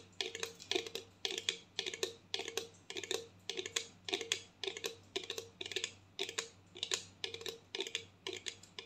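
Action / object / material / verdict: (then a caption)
tap / plastic mouthwash bottle partly filled with liquid / plastic / none. Long nails tap quickly on a medium clear plastic mouthwash bottle with a label, partly filled with blue liquid and held horizontally. The result is bursts of bright, dry, clicky taps, roughly two per second, each fading fast, over a faint steady low hum.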